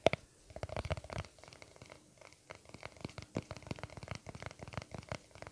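Short nails scratch and tap across the lid of a small round white plastic aloe vera cream tub held close to the microphone. A sharp click at the start is followed by a quiet, rapid run of dry scratching ticks and soft taps with a faint low rumble underneath.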